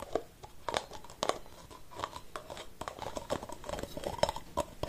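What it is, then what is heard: Aerosol spray can with plastic cap. Fingernails scratch and tap the white plastic cap of an aerosol spray can held in both hands. The result is a quiet, irregular run of short, dry clicks and crinkly scrapes with a hollow plastic tone around 600 Hz and brief bright edges, each tap dying away almost instantly.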